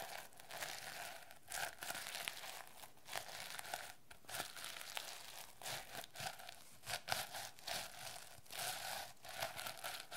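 Long red nails scratch and tap across the reversible turquoise and yellow plastic sequins covering a medium-sized hardcover notebook held in the hands, flipping them. The result is a steady, bright, crinkly rasping broken by short, sharper clicking bursts, with little low-end weight.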